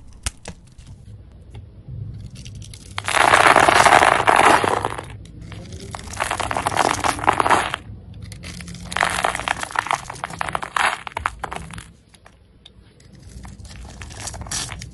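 A utility knife blade scores a solid red "Red Berry" soap bar held in the hand and scrapes off small cubes. Dense crackling, crunchy scraping comes in three main bursts around 3–5 s, 6–8 s and 9–12 s, with quieter scratching between them and afterward.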